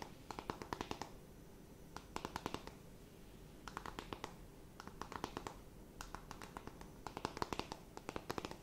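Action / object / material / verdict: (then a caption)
tap / cardboard makeup palette / cardboard / none. Long nails tap and scratch a closed, flat rectangular cardboard eyeshadow palette. Several bursts of quick, dry, clicky taps come in clusters, each dying away almost instantly, with a light scratching texture between them over a quiet background. The taps have a papery, hollow tone centered around 1 kHz.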